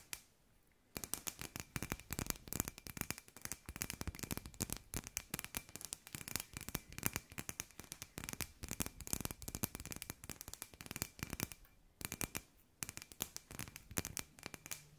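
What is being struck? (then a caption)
Hand-sized glass sphere. A hand-sized hollow glass sphere with fairy lights inside is tapped with long nails. Quick, dry, bright clicks come in dense bursts with no ring, with brief pauses near the start and around the twelve-second mark.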